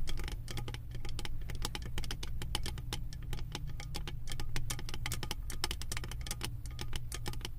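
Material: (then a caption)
Metal. Long acrylic nails tap and scratch a round embossed metal lid studded with small metal beads, resting on a full candle jar. Rapid, bright clicky taps and scratchy patter sound over a steady low hum, each tick dying away almost instantly.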